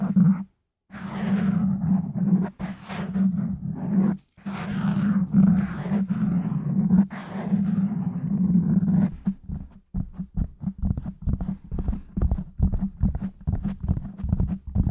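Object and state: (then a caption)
Foam microphone windscreen. Fingertips poke and tap the top of a black foam windscreen on a microphone, and both hands scratch its sides. Dense, muffled rustling and rubbing fill most of the clip with a boomy low hum, broken by brief silences. A run of rapid, dull thumping taps follows.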